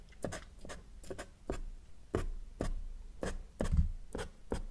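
A felt-tip marker draws short dashes and lines across a flat sheet of thin white drawing paper while fingertips hold the sheet steady. Each stroke is a brief, dry scratch as the tip rubs the paper, coming in a quick irregular rhythm of separate strokes. The sound is quiet, with soft low rumble under faint, bright rasps.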